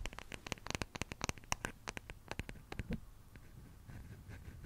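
Long fingernails tap and scratch the rounded back of a small wooden hairbrush with a solid wooden back, making a rapid run of short, dry, bright clicks. After about three seconds the tapping stops and a softer, steady scratching continues to the end.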